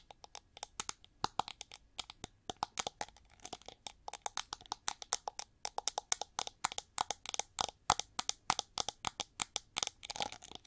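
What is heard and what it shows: Long nails rapidly scratch and tap the ridged back of a hand-held, hollow, gold-plated (gold-metallized) plastic hair brush with sculpted wing ridges and red bristles. About sixty sharp, dry, bright clicks and scrapes follow one another in quick irregular succession. Each cuts off instantly with no ring and almost no low end.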